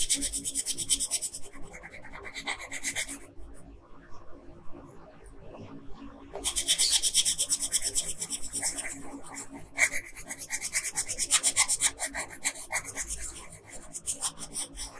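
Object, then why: Coloured pencil scratching a printed paper sheet. A blue colored pencil scratches a flat printed paper coloring sheet in small, quick strokes on a figure's earring, giving a dry, bright scratching rasp. Bursts of strokes come and go, with a quieter pause near the middle before the scratching picks up again.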